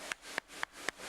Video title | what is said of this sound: A Thousand Years Of London's River History - The Thames Through Time - Timeline | makes a hollow sound when you knock it against another oyster like that it means that there's something wrong with it